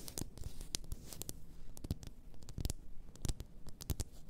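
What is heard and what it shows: Long nails tap and scratch the sides of a large champagne-shaped bottle, apparently glass, with a paper label and filled with pink bath salt crystals. The result is a quiet, irregular run of short, dull taps with little ring, mixed with brief bright scratchy strokes over a soft low rumble.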